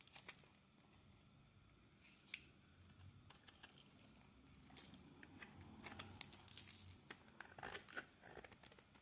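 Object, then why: Translucent glycerin soap bar scraped with a metal blade. A metal blade scrapes and shaves the surface of a solid, translucent glycerin soap bar held in the hand. Quiet, crisp shaving and crinkly scraping strokes come in bursts, bright and airy with a faint low rumble beneath.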